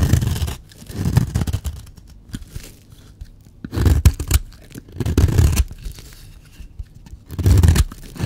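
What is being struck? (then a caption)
Bar of soap scraped with a blade. A blade scrapes fine shavings off a solid, dry yellow bar of soap in repeated strokes. Each stroke makes a soft, dull, low-pitched rasping scrape, separated by quiet pauses.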